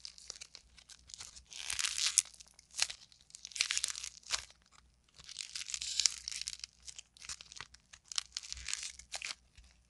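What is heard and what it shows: A solid, palm-sized lump of purple and yellow modeling clay is squeezed, folded and torn by hand with long nails. Bright, dry crackling and tearing sounds come in repeated bursts, each swelling and fading with sharp snaps and almost no low end.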